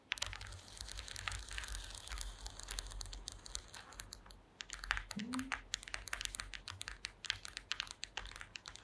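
Long green acrylic nails tap across a woven wooden slat mat resting on a table, producing a rapid, uneven run of dry, bright clicks with almost no ring. A steady low hum sits underneath, and a brief low rising tone appears midway through.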